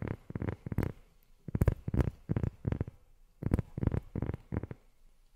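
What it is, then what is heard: Rubber sheet. Long fingernails tap on a rubber sheet in three quick bursts of soft, muffled taps. The taps are dull and low, around 90 Hz, and each one stops dead with no ring.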